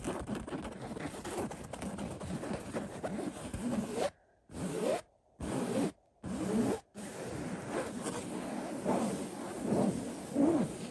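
Fingertips scratch and rub the floral-print woven fabric of a cotton floral throw pillow, producing a steady dry, scratchy rustle. Between about 4 and 7 seconds the rubbing breaks into short bursts separated by brief silences, then resumes continuously with a few louder swipes near the end.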